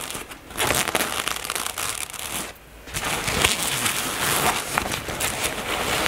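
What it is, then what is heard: Fabric cosmetic bag. Long natural nails tap and scratch the surface of a soft, medium-size black floral-print nylon or polyester toiletry bag that is probably holding items. The result is a steady, bright crinkling and scratching with soft taps and little low end, easing into a brief quieter pause just before the three-second mark before resuming.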